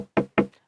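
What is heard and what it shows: Two sharp knocks on a wooden surface, made "to knock on wood" against the jinx of having said one's luggage has never been lost. Each knock is a short, dry, hollow tap with little ring, pitched around 200 Hz.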